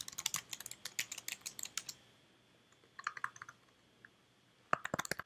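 Fingertips with red nails type on the keys of a white slim plastic computer keyboard, making quick, bright, dry clicks. The clicks come in bursts, separated by a quiet pause and a few scattered taps. A final flurry of typing ends the clip.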